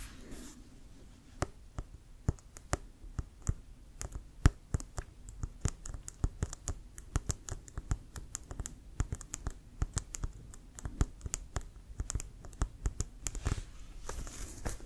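A full-size inflated brown composite-leather American football with a pebbled synthetic-leather surface and a white stripe is held in one hand and tapped with fingertips and nails. The result is a steady stream of quick, irregular taps: dull, low thumps mixed with sharp little nail clicks, each dying away almost at once.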